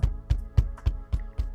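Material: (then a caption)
Plastic. Six knocks on an interior side trim panel of a new Tesla Model 3, each a short, deep, solid thump with almost no ring. There is no rattle, and the panel sounds solid.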